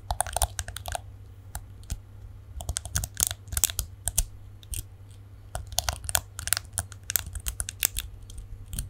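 Long nails scratch and flick the black plastic bristles of a palm-sized plastic detangling hairbrush with a chrome-look back, held in both hands close to the mic. Quick, bright, crackly ticks and scratches come in irregular bursts with short pauses, over a steady low hum.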